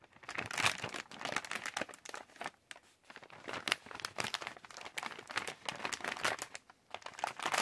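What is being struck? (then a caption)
Plastic candy pouch. Fingertips crinkle and tap the surface of a yellow Halls resealable plastic candy pouch while hands squeeze it. This produces dense, crisp, bright crinkling with sharp clicks, almost no low end, and brief quiet pauses.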